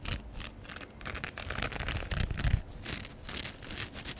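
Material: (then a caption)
Straw. Fingertips and nails scratch and rub the open-weave crown and brim of a large, wide-brimmed woven straw sun hat, hollow and light, held up and worn on the head near a fluffy microphone. Quick, irregular crinkly scratching strokes come in bursts of bright hiss over a low rumble.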